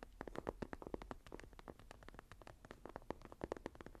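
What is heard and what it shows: Fingertips and long nails tap and scratch the cover of a closed, dark green textured leather journal. Quick, dry, quiet taps with a soft midrange knock are interspersed with light scratching strokes over a faint low rumble. Each tap dies away almost instantly.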